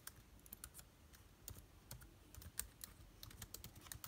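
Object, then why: Laptop keyboard with plastic keys. Fingertips of both hands type rapidly on the plastic keys of a backlit MacBook Air keyboard. A quiet, steady stream of short, bright key clicks over soft low thumps, each click dying away almost instantly.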